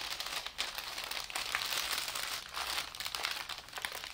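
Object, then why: Thin tissue wrapping paper. Fingertips and palms smooth, fold and crinkle a large, thin sheet of white tissue wrapping paper lying flat on a table. The result is a steady, bright, papery crinkling and rustling that swells and dips in waves, with almost no low end.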